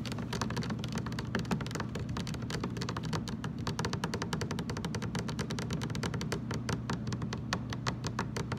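Fast fingertip tapping with both hands on the ridged lower sides of a large, hollow, blue translucent plastic water jug standing upright. It makes a steady, rapid stream of crisp clicky taps over a low, hollow boomy resonance that fills the whole clip.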